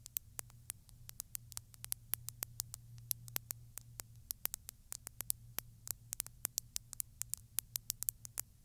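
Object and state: Glass bottle.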